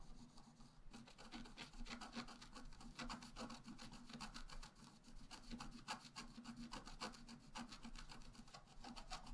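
A wooden stylus scratches a flat, black-coated scratch-art paper card with vigorous strokes on the left. Rapid, repeated dry rasping strokes run steadily throughout, each a brief bright scrape over a faint low hum.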